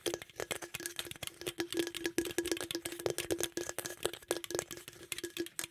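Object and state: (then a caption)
Aluminium drink can, hollow. Fingertips and nails tap and scratch the body and top of a green aluminum beverage can held close to the microphone, in quick, irregular bursts. Each tap is short and dry, with a hollow tone steady around 370 Hz, while the scratches add bright, raspy noise above it.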